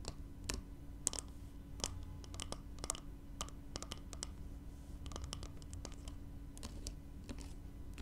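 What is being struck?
Small glass spray bottle.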